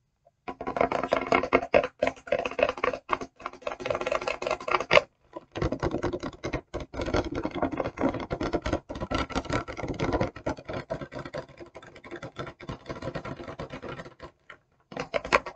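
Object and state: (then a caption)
Rigid plastic packaging. Long nails tap and scratch the surface of a clear, rigid plastic e.l.f. brush set box, a hollow blister package with brushes inside. Dense, rapid clicky tapping and scraping runs almost continuously, with a mid-range hollow plastic tone around 590 Hz. It breaks off briefly near 5 and 15 seconds before resuming.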